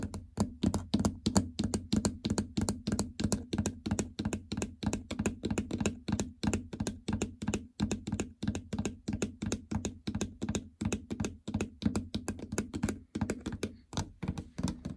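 Long fingernails tap quickly and unevenly across the plastic membrane keypad buttons of a treadmill control console with a hollow housing. A steady stream of short, sharp clicks carries a hollow, low thunk around 200 Hz, and each tap dies away almost at once.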